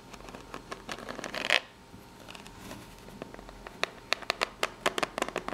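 Long natural nails scratch and tap the ridged side of a small corrugated cardboard box. A dry, bright scratching rasp builds to a loud scrape, fades to a soft rustle, then gives way to a run of sharp, quick taps that stop dead with no ring.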